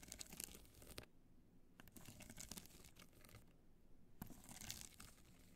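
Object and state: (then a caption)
Rhinestone-covered hard-shell clutch. Long nails scratch the studded face of a hollow black hard-shell clutch covered in multicolor rhinestones, held in the hands. The result is bursts of dry, crinkly, bright scratching with a faint low rumble underneath, broken by two short near-silent pauses.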